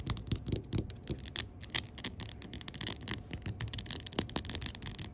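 Long pink acrylic nails tap rapidly on a large 20 oz Mainstays Hazelnut Cream glass jar candle, filled with wax and wrapped in a paper label, while the hand turns the jar. The result is a dense stream of quick, bright, dry clicks that die away instantly, mixed with soft scratchy rubbing and a low rumble underneath.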